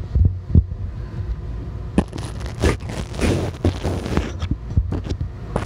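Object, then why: Metal mesh microphone grille. A spoolie brush with a green handle and white bristles scrapes and brushes the metal mesh grille of a small black handheld microphone, bare with no foam cover. The sound is a deep, boomy rustling and scratching, with soft thumps and brief brighter scrapes.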